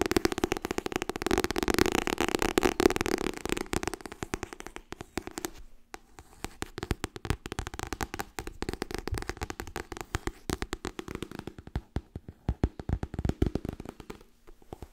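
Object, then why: Paperback book cover. Long nails tap and scratch rapidly on the front cover of a white softcover *Getting Things Done* paperback book. The sound is a fast, dense run of short, dry clicks with a papery scratch and a mid-low body. There is a brief lull around the six-second mark before the tapping picks up again.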